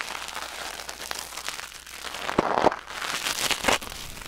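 Metal tweezers held in the fingers scrape and pick inside the ear canal of a white silicone ear mounted on a black binaural microphone. Dense, bright crackling and rustling scratches fill the clip, with sharper clicks standing out near the middle and end.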